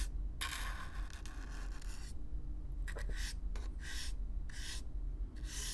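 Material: Cardboard.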